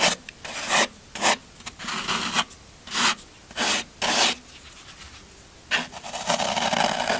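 A small metal blade repeatedly scratches and scrapes the side of a solid green floral foam brick while a hand holds the brick down. Bursts of dry, crunchy rasping with bright, hissy highs are separated by short pauses, ending in a longer continuous scrape.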